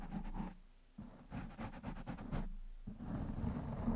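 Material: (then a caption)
Foam. Fingertips of one hand scratch and rub the top of a black foam windscreen on a microphone. The result is a muffled, bass-heavy crackling and rustling in uneven bursts, separated by brief quieter gaps.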